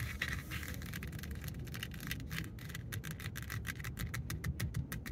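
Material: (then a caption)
Faux leather. Long acrylic nails and fingertips scratch and tap a black stitched faux leather cover wrapped around the rim of a Dodge Charger steering wheel. Quick, crisp clicks and scratchy bursts come faster and more separated toward the end, over a steady low rumble.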